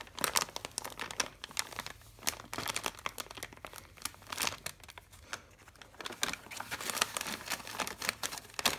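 Fingertips with painted nails press, rub and crinkle a large, empty brown kraft paper carrier bag with paper handles and a printed Primark logo lying flat on carpet, and a hand reaches inside and grips the handle. Dense, crisp paper crinkling comes as rapid, sharp, bright crackles with almost no low end. The bursts are dry and die away instantly, rising and falling in clustered waves throughout.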